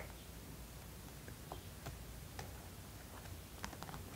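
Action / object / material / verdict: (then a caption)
tap / vinyl mannequin head / vinyl / none. Long pointed acrylic nails tap the cheeks, nose and chin of a life-size hollow vinyl/plastic mannequin head with stick-on gems. The result is a series of quiet, sharp, bright clicks over a steady low hum.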